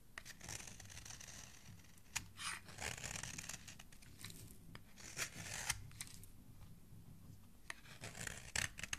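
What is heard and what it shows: A steel utility-knife blade with a blue handle scrapes down the edge of a solid green bar of soap held by fingertips, cutting off fluffy shavings. The strokes make soft, crisp, bright rasping and scratching sounds in repeated bursts over a faint low rumble.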